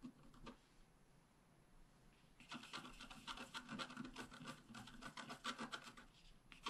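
A wooden stylus scratches lines into a flat black wax-coated scratch art card, working on the upper part of a bicycle picture. A few faint, dry scrapes come first. From about two and a half seconds, quick, irregular raspy strokes follow one after another, bright and scratchy with very little low end.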